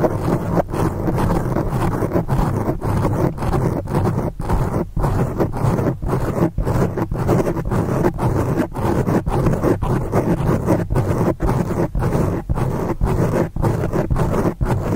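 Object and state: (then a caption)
Foam microphone windscreen being scratched. Long acrylic nails scratch quickly over the top of a black foam windscreen on a microphone. The result is a continuous, dense, low rumbling scrape with almost no high or bright content, broken by brief, regular dips as the scratching strokes change.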